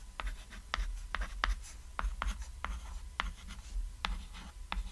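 White chalk writes text on a small, flat, cat-silhouette chalkboard, a thin solid board lying on red fabric. About ten short, crisp chalk strokes and taps scratch out in quick succession, each bright and dry with almost no ring. A steady low hum sits underneath.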